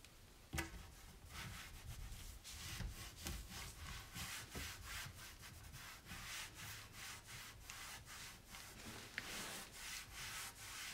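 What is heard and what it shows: A hand wipes a dirty white painted raised-panel kitchen cabinet door, solid and likely wood or MDF, with a cloth and cleaning spray. Repeated soft, breathy rubbing strokes sweep across the panel, with bright hiss and low thumps under them. A few sharper clicks cut through the steady wiping.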